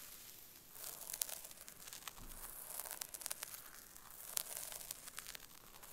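Long acrylic nails scratch and rake through the hair of a brown wig near the parting, the wig sitting on a mannequin head resting on a pink cushion. The result is a quiet, bright, crackly rustling with sharp ticks and crinkles scattered throughout.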